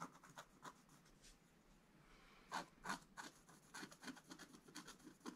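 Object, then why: Scratch-art coated paper card scratched with a wooden stylus. A wooden stylus scratches many short strokes into a black coated scratch-art card in a book. Each stroke makes a quiet, dry rasp with bright, hissy highs, coming in an uneven rhythm, with a few louder scrapes standing out partway through and near the end.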